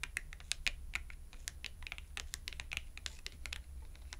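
Long acrylic nails tap rapidly on the edge of a small, thin purple cardboard shopping tag held edge-on between both hands. The result is a quick stream of sharp, dry, bright clicks with almost no ring, over a steady low rumble.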